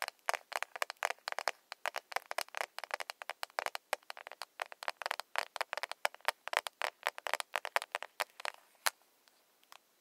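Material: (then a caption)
Plastic. Long nails tap rapidly on the glossy shell of a small, closed, hollow pink plastic cushion foundation compact. The result is a fast, uneven stream of dozens of short, dry, bright clicks with no low end and almost no ring. The taps thin out and grow sparser toward the end.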